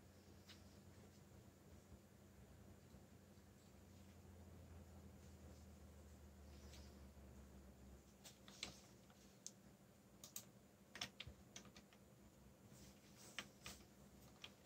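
Fingertips type on the keycaps of a backlit black plastic mechanical keyboard. A low steady hum fills the first half, then scattered sharp, bright clicky keystrokes come at an uneven pace over the quiet background.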